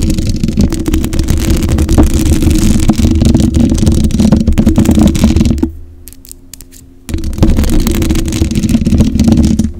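Long acrylic nails scratch and tap across the black metal mesh grille of a condenser microphone with a hollow head. The result is dense, rapid scratching with a heavy, boomy low rumble. The sound drops to near-quiet for about a second and a half, then the scratching resumes just as loudly.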